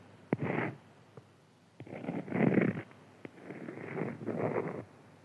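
Fingertips and nails scratch and tap across a flat, printed beeswax-coated cotton food wrap lying on a white table. Four sharp taps are separated by soft, rasping scratching bursts that swell and fade. The sound is low and muffled, with little high brightness.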